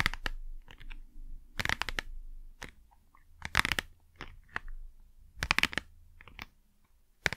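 Long nails scratch and tap the face of a small, hollow, printed cardboard Blu Tack box while it is tilted in the hands. The result is clusters of dry, crisp, bright clicks and scratchy rasps with no ring, separated by quiet gaps over a faint low hum.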